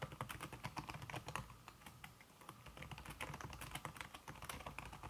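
Fast typing with fingertips and red-painted nails on a slim backlit aluminum keyboard whose keys are covered by a red silicone skin. A dense, rapid stream of soft, muffled key taps with low thuds and short, dry clicks that barely ring, briefly easing around the middle before picking up again.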